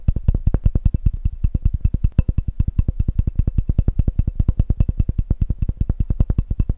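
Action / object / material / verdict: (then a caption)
tap / glass measuring cup / glass / none. A clear glass measuring cup with red markings, hollow and empty, is held sideways in front of a microphone and tapped rapidly and aggressively with the fingertips and nails of both hands. About sixty short, dull, low thumps come in a fast, uneven stream, each dying almost at once, with faint bright clicks from the nails on top.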